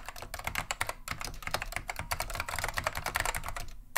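Continuous fingertip typing with both hands on a beige plastic vintage Wang 725 mechanical keyboard fitted with Alps SKCM Lime switches. A rapid, steady stream of sharp, bright clacks with short decays, a brief lull just before the first second and at the very end, and a light low rumble underneath.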